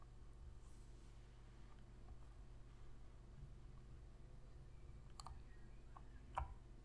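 Long fingernails press and click the face buttons of a black PS3 controller made of hollow plastic, held in the hands. A few short, sharp plastic clicks sound late in the clip over a steady low hum, the last one the loudest.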